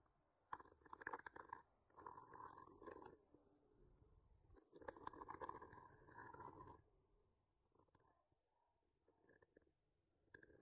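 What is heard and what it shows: A thin wooden skewer, with a microphone clipped to its end, is slowly traced and scratched along the painted lines of a tree artwork on a flat, solid painted wooden board. Soft, gritty scraping comes in a few longer passes centered around 1 kHz with bright edges. It then thins to faint, scattered scratches near the end.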